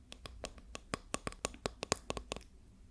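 A wooden ruler is tapped 14 times in a quick, uneven series. Each tap is a short, dry click with a bright ring and almost no decay, over a faint background hiss.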